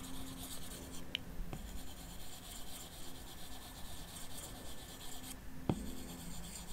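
An Apple Pencil's plastic tip makes repeated short shading strokes across the solid glass touchscreen of a large 12.9-inch iPad Pro lying flat. The result is a soft, continuous scratching and rubbing with a low hum underneath, broken by a few sharper taps.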